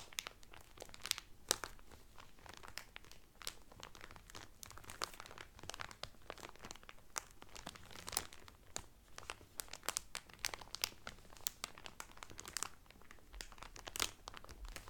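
Fingertips and medium-length painted nails press and crinkle the loose, thin clear cellophane sealed around a folded blue terry Carnival towel lying flat on a table. The result is a steady, quiet stream of dry, bright crinkles and sharp crackles that die away instantly, with a few louder snaps standing out.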